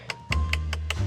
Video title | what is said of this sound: 벤틀리 타는 사람들도 홈런볼을 먹네요? 실내돋보기 리뷰-벤테이가 | 생각보다 이 부분은 마감이 디테일하지가 않은 부분을 좀 볼 수가 있을 것 같습니다